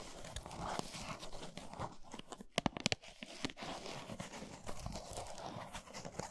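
Long nails quickly tap and scratch a full, flat Lindt cardboard chocolate box resting on a towel. A steady dry, papery scratching fills the clip, broken near the middle by a quick burst of sharp, crisp taps, with short, dead taps that don't ring.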